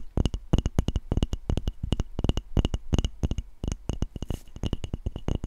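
A handheld wooden-backed brush with dark bristles and a solid light wood body is held close to the microphone while its flat wooden back is tapped and scratched with long nails and fingertips. Quick, dry clicking taps come in rapid clusters, each with a low thump and a sharp, bright click near 2.9 kHz that dies away almost instantly, with soft scratchy noise between them.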